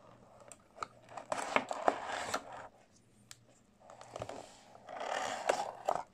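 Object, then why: Small cardboard box. Fingertips in pink latex gloves scratch and tap a small, closed white cardboard product box that apparently holds a mouse, resting on a wooden desk. Two bursts of dry, papery scratching come through, with sharp, short taps scattered through them and quieter pauses between. The sound sits mostly in the midrange, with a brighter hiss in the scratches.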